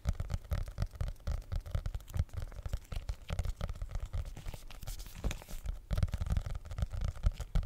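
A solid red hardcover notebook with a faux leather cover is held upright in both hands while fingernails tap and scratch the cover. The result is a steady run of quick, dull, low thumps that stop dead, mixed with soft scratchy rustling.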